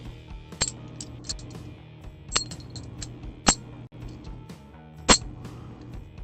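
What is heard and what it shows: A silver coin is made to ring, giving several sharp, high-pitched metallic pings over a low background hum. The ring confirms it as real silver, and it is also not magnetic; it is a personal coin that will never be sold.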